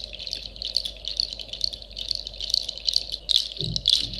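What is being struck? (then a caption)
Dried seed-pod shell shakers. A pair of hand-held shakers, made of clusters of small, hollow, dried pale seed-pod or nut shells strung on woven fiber handles, is held in both hands and shaken over a sleeping Shiba puppy. The shells knock against each other in a continuous dry, clattery, bright rattle with quick pulses of louder shakes. Near the end, a brief soft low thump sounds under the rattle.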